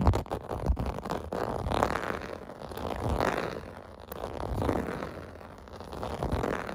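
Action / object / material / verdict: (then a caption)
scrape / plastic bath mat with domed bumps / plastic / none. Fingernails scratch across a clear-blue plastic bath mat with small domed bumps lying flat. The result is a dense, rough, fluttering rasp that swells and fades in slow waves. It is heavy in the low and middle range, with little high brightness.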